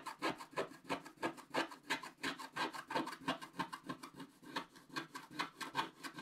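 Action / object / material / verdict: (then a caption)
scrape / wax-coated scratch-art paper scraped with a wooden stylus / waxed paper / none. A wooden stylus scrapes the coating of a flat, wax-coated scratch-art paper sheet in the center and lower areas, with a paintbrush lying unused nearby. Dense, quick scratching strokes come at about three per second, around 30 in all, each a short dry rasp with a bright, papery hiss centered near 900 Hz. The strokes are quiet and only loosely even, with little low end.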